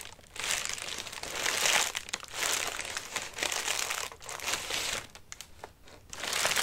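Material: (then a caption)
Paper. Hands rub and press the crinkly paper of a large, hollow, flattened orange paper lantern with wire ribs, then hold it flat. Bright, dry crinkling comes in swelling bursts with brief quieter gaps between them, with almost no low end.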